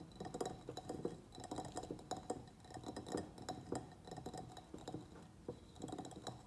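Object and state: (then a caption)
Ceramic plant pot. A medium white ribbed ceramic pot, filled with soil and holding a pruned begonia, is tapped on its sides with the fingernails of both hands. The result is a quick, uneven run of light, clicky taps, each with a very short, faint ceramic ring around a mid pitch.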